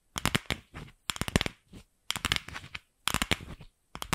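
Long acrylic nails tap and scratch on a single empty, fist-sized, pink hollow plastic ball. The result is quick clusters of sharp, bright clicks mixed with a dry, scratchy rustle. The clusters come in short bursts separated by brief silences, and each tap dies away almost instantly.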